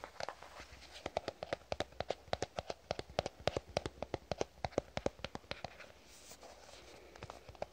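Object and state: Plastic squeeze tube.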